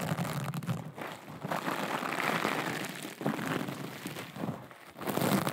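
Long acrylic nails scratch and tap a small, soft, flexible aqua rhinestone mesh pouch. The result is a dense, continuous crinkly scratching with a gritty, crackling texture. It swells and dips briefly as the strokes change, with only short tapping accents.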